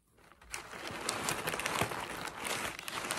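Fingertips with short nails press, rub and crinkle loose crumpled white tissue paper filling an open cardboard box, with the box sides not struck directly. A continuous dry, bright crinkling and rustling builds from near silence in the first half second and stays busy with small crackly peaks, giving a light, hollow packing-material sound.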